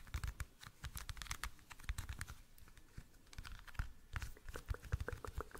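Fingernails tap rapidly and irregularly on a small, hollow, clear plastic toothpick case. The taps are short, dry clicks with a dull low knock underneath and a bright, crisp edge, dying away almost instantly. They come in uneven bursts, with a quieter stretch in the middle.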